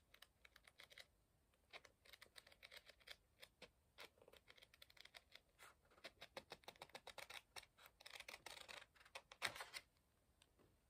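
Fingertips riffle and flip a stack of pages in an open book with a thick paper block, producing rapid paper flutters. Dozens of quick, dry, bright rustling bursts come in uneven clusters across the clip, with a louder, denser run near the end.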